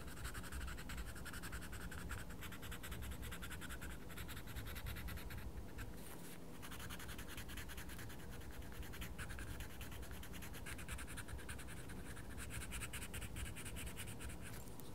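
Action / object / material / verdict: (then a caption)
scrape / wooden coloured pencil on a paper colouring book page / paper / none. A wooden coloured pencil makes fast scratching strokes across the page of a small paper colouring book, colouring in a mandala. The quiet scratching is dense and continuous at a steady level over a low, muffled rumble. There is a brief lighter moment partway through.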